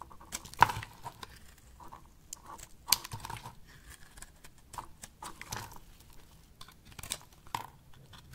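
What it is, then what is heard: Dry bar soap being shaved with a blade. A box-cutter blade slices thin flakes off the surface of a solid rectangular pink dry soap bar held in the palm. Quiet, irregular dry scraping and crinkly crumbling sounds are punctuated by a few sharper, brighter cuts, with short pauses between strokes.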